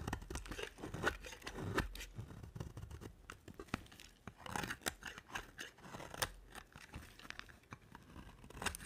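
A utility knife blade scrapes and carves flakes off a dry, solid white soap bar with a dark coated edge. The result is a quiet series of short, crunchy, dry scraping strokes with brief rasping bursts and little ring between them.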